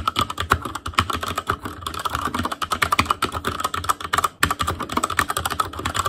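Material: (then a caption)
Plastic. Fingertip typing with both hands on a black plastic Asus Claymore Core mechanical keyboard with Cherry MX Red switches. It makes a steady stream of quick, dry clacks, each a short, sharp tick with a clicky tone around 1.4 kHz and a light bottoming-out thud underneath. There is a brief pause near the middle before the typing resumes.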